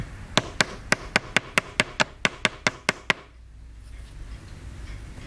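A wooden mallet strikes a wooden chisel stick held against a small solid white plaster excavation block on a table, as the stick taps and scrapes the block. Thirteen sharp, bright knocks come in a quick, uneven run over about three seconds, each dying away almost at once. Quiet low room noise follows.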